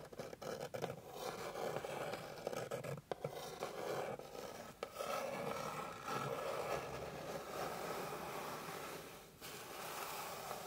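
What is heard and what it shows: Long pink fingernails scratch across the surface of a flat, light, solid wooden board. The result is a steady, dry rasping scrape, centred in the midrange, with brief dips and pauses between strokes.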